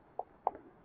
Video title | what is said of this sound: CAMPAJERO - Camping di JERAM NGENJUR CAMPSITE - IIIF150 R2022 Rugged Phone (Malaysia) | kita ketuk nih bunyi padat macam bunyi betul